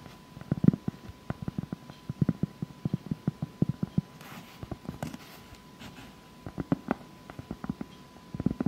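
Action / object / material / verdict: tap / round cork board / cork / none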